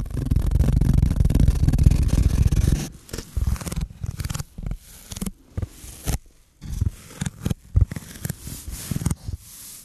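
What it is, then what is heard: Foam block scratched with fingers. A rectangular, solid, hand-sized black speckled foam block is scratched with fingertips and nails. For about three seconds there is a dense, continuous, low rumbling scratch, then a series of short, separate scratching bursts with quiet gaps between them. The sound is muffled and heavy in the low end, with little brightness.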